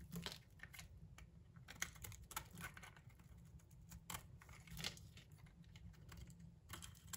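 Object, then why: Bar of soap scraped with a metal blade. A solid, palm-sized pink soap bar held in the hand is shaved and scraped with a metal utility knife blade, and small chips fall off. Quiet, crisp scraping and ticking strokes come in irregular bursts, with bright, short-lived edges over a low rumble.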